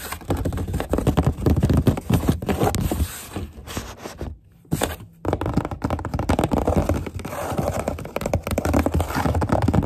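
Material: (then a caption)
Cardboard. Long grey nails tap rapidly on the wall of a corrugated cardboard box near its edge. A dense run of dull, low, scratchy taps and scrapes fills the clip, dropping to near silence briefly around the middle before the quick tapping resumes.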